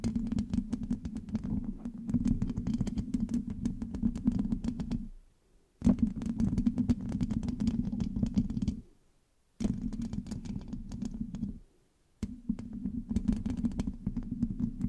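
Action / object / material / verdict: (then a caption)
scrape / metal mesh microphone grille / metal mesh / none. Long acrylic nails on both hands scratch and tap the hollow black metal mesh grille of a large USB microphone. The result is dense, rapid crackling scrapes and ticks over a strong low hum-like body around 200 Hz, with bright crackle reaching high. It comes in four bursts separated by short silences.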